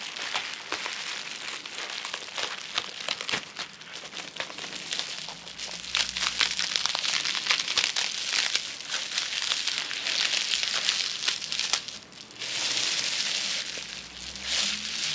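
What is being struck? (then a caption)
Plastic bubble wrap sheet. Long manicured nails and fingertips scratch and crinkle a large flat sheet of plastic bubble wrap lying on a table. Dense, bright crinkling with irregular sharp crackles and clicks continues throughout. It dips briefly near the twelfth second before returning as a steadier, hissy rustle.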